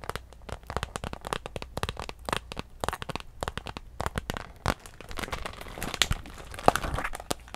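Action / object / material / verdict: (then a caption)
scrape / clear PVC plastic handbag / PVC plastic / none. A small, clear, iridescent holographic PVC handbag with a gold chain, hollow and empty, is squeezed and scratched with long nails. Dense crinkling with rapid sharp clicks and crackles runs throughout, with brief bright tones and a few louder snaps in the second half. Each click dies almost instantly.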